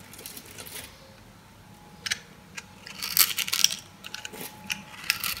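A metal blade cuts and scrapes cubes off a pink, oval, solid dry soap bar with a grid-scored surface, held in the hand. Bright, crisp crunching and scraping come in short bursts over a quiet background. The crunches grow louder and denser toward the middle and end.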